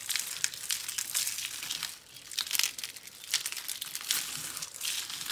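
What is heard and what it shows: A pile of yellow and orange dry soap curls and flakes is crushed and crumbled between both hands and fingers on a dark board, with other soap roses lying untouched beside it. Dense, dry, bright crinkling and crunching sounds crackle continuously in quick, uneven bursts, with almost no low end and no ringing. There is a brief softer lull near the middle.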